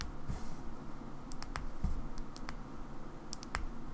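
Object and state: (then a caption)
Plastic battery pack. Long nails tap and scratch a small black plastic Xbox battery pack held in the fingers. The result is quiet, sparse, dry clicks with bright, high ticks over a soft, low rumble.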